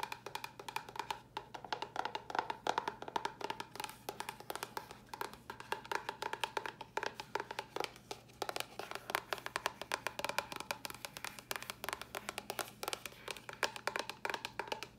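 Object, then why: Small cardboard box. Long nails tap a small, empty-looking, hollow white cardboard box with a red top. The taps come in a fast, steady, unbroken flurry. Each one is a dry, hollow, woody click centred around 890 Hz with a bright edge, dying away almost instantly.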